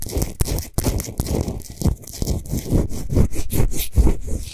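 Long nails scratch fast and aggressively over the sides and top of a large solid pink Himalayan salt sphere lamp that is switched off. The result is a dense, gritty scraping and rustling texture in rapid irregular bursts, with heavy low-end body and bright crackly grit on top.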